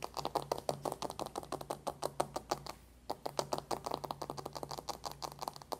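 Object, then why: Cardboard makeup palette. A closed, dark cardboard eyeshadow palette lies flat on a white table and is fast-tapped with the long nails of both hands. Rapid, uneven, dry clicking taps sound with a midrange knock and a bright tick, each dying away almost instantly. There is a brief pause just before the three-second mark before the flurry resumes.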